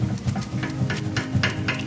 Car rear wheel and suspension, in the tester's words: เพียงแค่ฉันเขย่าสิ่งนี้แต่วงล้อนี้จริงๆแล้วเคลื่อนไหวเมื่อฉันทำอย่างนั้น